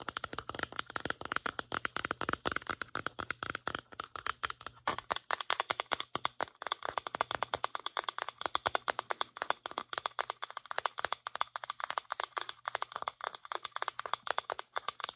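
A white plastic lotion pump bottle is tilted in the hands and tapped with long nails. Rapid, dry plastic clicks and taps follow one another steadily for the whole clip, bright and short with almost no ring.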